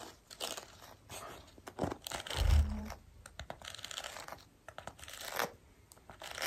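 Long pink acrylic nails scratch and brush a black foam or mesh windscreen covering a microphone. The result is a close, crunchy, crinkling scratching with bursts of bright hiss, plus a heavy low rumble that swells to its loudest around the middle of the clip.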